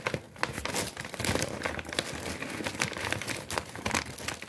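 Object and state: Kraft paper bag being crumpled.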